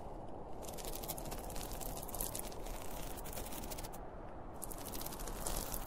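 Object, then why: Polyester fabric pencil case. Fingernails scratch across the printed cartoon front and top of a closed, hollow, zippered school pencil case made of polyester fabric. The result is a continuous, dense scratching texture with a heavy low rumble underneath and bright, streaky rasps layered on top.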